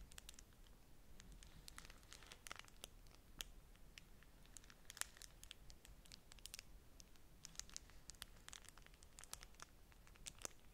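Long nails scratch and crinkle a folded, thin beeswax-coated cotton food wrap pressed against a stack of wraps. The result is quiet, dense, dry crackles and sharp bright ticks over a soft low rumble, with each tick stopping almost instantly.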